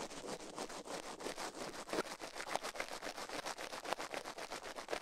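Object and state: Silicone ear scrubbed with a toothbrush.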